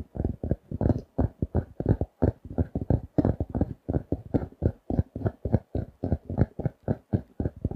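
A paper notebook with a glossy laminated cardboard cover, held in both hands, is tapped with fingertips and nails. The 34 quick, dull taps come in an uneven rhythm, each a short low thud with almost no ring and little high-end sparkle.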